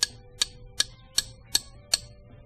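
A lead wheel weight, held firmly, is tapped six times with a hardened bolt, giving short, dry clicks that die away almost instantly with no ringing. It is the dull, lower tone of lead rather than the much higher pitch of zinc, the ear test used to sort lead from zinc wheel weights.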